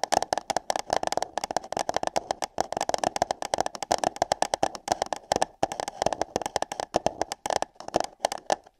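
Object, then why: Paper cups over a microphone. Long nails rapidly tap and scratch hollow light-blue paper cups placed over the ears of a binaural microphone. The result is a dense, uneven patter of dry clicks and scrapes with a hollow, cupped resonance around 760 Hz and bright crisp edges. There are brief pauses between the bursts.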